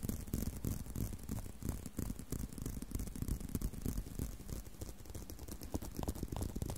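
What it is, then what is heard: Leather belt. A leather belt is tapped and scratched continuously, giving dull, low-heavy taps that stop almost at once, mixed with soft scratchy rustle. The taps come in an uneven patter of about three per second over a steady quiet background.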